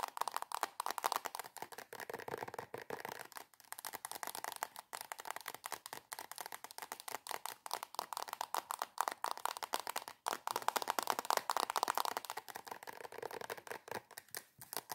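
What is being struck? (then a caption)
Soft plastic squeeze tube. Long acrylic nails tap and scratch fast across the front of a soft plastic squeeze tube of coconut body cream. The result is a dense run of quick, dry clicks and crinkly scrapes centered in the midrange around 900 Hz, with a bright edge and almost no low end.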